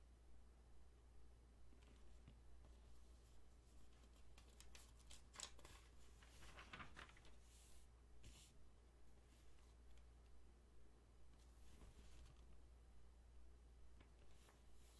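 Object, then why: Glossy paper magazine. Fingertips rub and smooth the pages of an open glossy paper magazine held flat, and turn them. Quiet, soft brushing and papery swishes with occasional brighter crinkles rise over a steady low hum.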